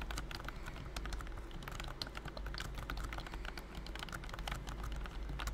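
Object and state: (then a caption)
Plastic computer keyboard. Fingertips type steadily on a pink plastic BT21 COOKY computer keyboard with round white and cream keycaps, a figurine on top and a hollow body. A rapid run of light, bright clicky taps carries over a low steady hum throughout.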